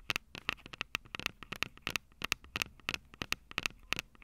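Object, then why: Handheld audio recorder with plastic body and metal mic grilles. Long acrylic nails tap and scratch the mic capsules of a Tascam DR-05 handheld recorder, which has a plastic body and metal mic grilles. The result is a quick, uneven series of sharp, dry clicks with scratchy texture between them. The sound is bright, centered around 2.6 kHz, with almost no ring and very little low end.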